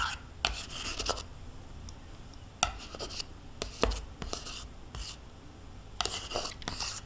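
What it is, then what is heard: Plastic yogurt cup scraped with a spoon. A metal spoon scrapes the inside of a small, hollow, nearly empty plastic yogurt cup with swirled residue, held in one hand. Sharp spoon clicks alternate with bright, hissy scraping strokes that stop quickly, over a faint low rumble.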